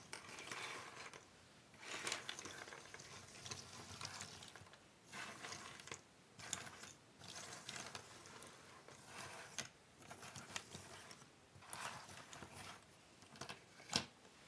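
A loose pile of small, thin cardboard jigsaw puzzle pieces on a wooden table is pushed and shuffled by flat hands and long nails. The result is a bright, dry rattling and clattering that comes in repeated bursts separated by short quiet gaps, with occasional sharper clicks.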